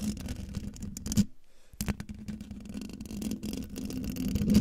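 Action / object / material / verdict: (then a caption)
scrape / metal mesh microphone grille / metal mesh / none. Long dark fingernails of both hands scratch fast across the hollow metal mesh grille of a silver microphone, making a dense, rasping scratch with a steady low hum around 200 Hz. The scratching breaks off briefly after the first second, then resumes and grows louder toward the end.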